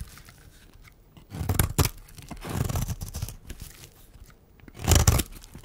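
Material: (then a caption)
Soap. A metal blade scrapes flakes off the face of a solid, dry pink oval bar of soap held in the hand. Rough, crunchy shaving strokes come in separate bursts with quiet gaps between them. Each stroke is heavy in the low end with a bright scratchy edge.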